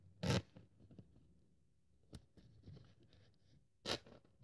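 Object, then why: Thin polyethylene foam sheet cut with a metal blade. A thin white polyethylene foam sheet, held with long-nailed fingers, is cut into strips with a metal craft-knife blade, with the cut-off strips lying beside it. Three sharp, bright scratching cuts stand out, with soft crackling and scraping in between.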